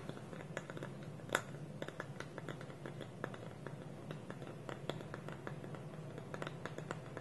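Fingertips and nails tap the side of a small, hollow, dark wooden bowl with a wooden lid, making a quiet, irregular stream of short, dry clicks and taps. The taps carry bright, woody overtones over a steady low hum. One tap near the start rings out noticeably louder than the rest.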